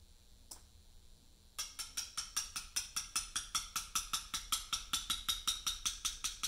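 A mallet strikes a chisel against a large, solid Portland limestone memorial slab in steady letter-cutting taps. After a single faint tap and a pause, a fast, even run of sharp, bright clicks follows, each with a short ring around 3.7 kHz.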